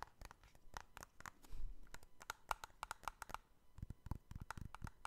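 Fingertips tap and scratch the top edges and faces of joined, hollow, clear hard plastic trading card cases with cards inside, held close to the microphone. A quick run of quiet, dry clicks and scraping rasps, some with a faint hollow tick near 880 Hz, dies away almost instantly, with occasional soft, low thumps.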